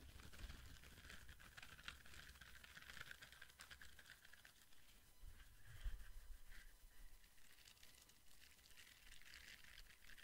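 Fingertips and nails tap and scratch across the short bristles of a small, flat orange silicone facial cleansing brush held in both hands. The result is a quiet, steady patter of soft, crinkly scratches, with a bright, rustly texture over a low, muffled rumble. A few slightly louder taps stand out along the way.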